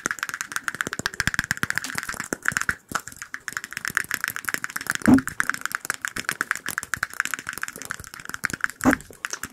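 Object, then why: Small empty glass cup. Rapid fingertip and fingernail tapping on a small, empty-looking clear glass cup about the size of a shot glass produces a dense, fast stream of short, dry clicks with a steady band around 1–2 kHz and bright upper ticks. Each tap dies away almost at once. Two louder, fuller knocks near the middle and end bring out a low tone around 270 Hz.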